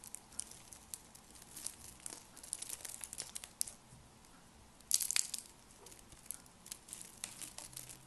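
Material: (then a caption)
Soap. Thin, ribbed, green and pink dry soap curls are crushed and broken between fingers with lavender-painted nails above a pile of soap flakes. Quick, dry, bright crinkling snaps come in irregular bursts, with a louder cluster of crunches around the five-second mark.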